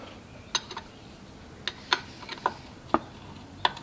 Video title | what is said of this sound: Cub Cadet Kohler K301 Catastrophic Engine Failure Tear Down | there's chunks of metal coming out